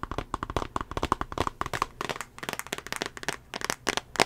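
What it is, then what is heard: Glass tablet screen and plastic case. Fingernails tap quickly on the glass screen and the edge of a small tablet in a solid teal plastic case. The result is a rapid run of short, dry, crisp clicks with a bright edge and no ring.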